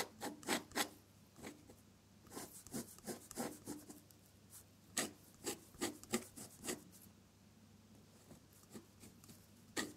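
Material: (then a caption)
Paper. A metal dip-pen nib scratches across a sheet of drawing paper in close-up, laying down red ink petal strokes. Short, dry, bright scratches come in irregular bursts, clustered near the start, the middle, and the end. Quieter gaps with a faint low hum sit between them.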